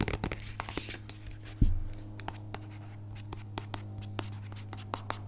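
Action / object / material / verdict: tap / small plastic squeeze tube / plastic / none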